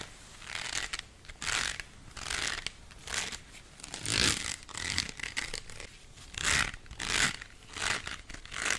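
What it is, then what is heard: Plastic colander, scratched and tapped. Fingernails scratch and tap the ribbed, perforated surface of a hollow, bowl-shaped white plastic colander held in both hands close to the mic. The result is a series of bright, dry, papery scratching bursts that rise and fade in waves, with quick taps mixed in and very little low end.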